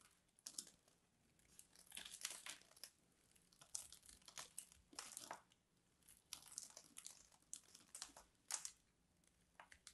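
A small metal blade scores and flakes the surface of a solid, hand-sized purple bar of soap held in one hand. It makes quiet, bright, dry scratching and crinkly crunching in uneven bursts, with short pauses between strokes. The sharp flakes die away almost instantly, and almost no low end is heard.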